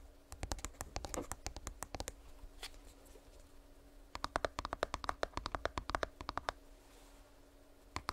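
A small, hollow purple plastic earbuds charging case is held close to the microphone and tapped and scratched with long nails. Quick, sharp clicks come in two dense bursts separated by quieter scratching, then a final tap near the end.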